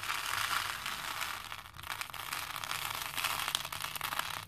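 Both hands lift and drop handfuls of small plastic faux pearl beads into a plastic bowl, making a dense, continuous patter of bright clicks as the beads strike each other. The rattling stays steady throughout, with a brief softer dip near the middle.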